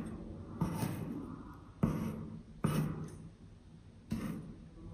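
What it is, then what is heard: Kinetic sand being cut. A metal serrated knife blade, held in hand, cuts and scrapes a flat, solid, moldable green kinetic sand clover shape resting on a white surface. Four separate soft, low, crunchy strokes are heard, each one trailing off into a gritty scrape.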